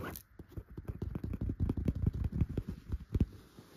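Long pointed gold and clear nail extensions scratch a yellow chenille fabric pillow with dot tufts. The sound is a quick, uneven series of soft, dull, low scratching thumps that start and stop sharply, opening with a brief bright hiss.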